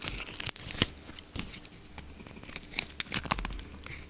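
A solid yellow soap bar with a blue rim, held in the palm, is shaved and scraped with a utility knife blade. Dry, crisp crackling and tearing sounds come in quick, bright snaps over a soft scraping hiss, with several sharper clicks standing out.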